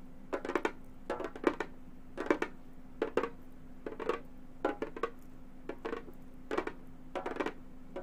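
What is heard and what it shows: A hollow frame drum with a synthetic head is tapped quickly with gold metal claws. The taps come in short clustered bursts of dry, clicky strikes with a hollow midrange body and very little ring, separated by brief pauses over a faint steady low hum.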